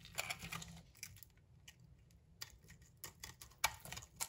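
A utility knife blade scrapes the bronze coating and soap off a solid green-and-yellow striped bar of soap held in the hand. Bright, crisp scraping bursts and faint crackles come in short clusters with quiet gaps, over a low, soft hum.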